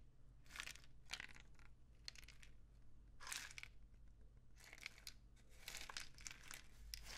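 A painted cardboard rain stick tube, held low and horizontal, is tilted slowly with fingers resting on the tube. It gives soft, bright bursts of trickling, crinkly rattling that swell and fade in waves, over a steady low hum.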